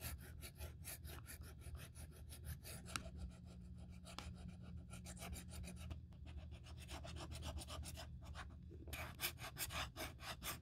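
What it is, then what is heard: Leather handbag edge being sanded. A small sandpaper strip held in the fingertips sands the cut edges of an open, empty black grained leather Saint Laurent handbag with quick rubbing strokes. Each stroke makes a dry, bright rasp over a steady low hum, with a brief quieter pause near the middle before the rasping picks up again.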